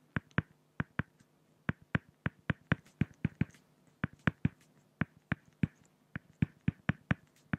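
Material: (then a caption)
Acrylic plastic. A pen hatches the head feathers of a drawing on a flat, solid acrylic glass (plexiglass) sheet, making 24 sharp, dry taps at an uneven rhythm over about seven seconds. Each tap has a low, hollow thump with a bright click on top and dies away almost instantly, leaving quiet gaps between strokes.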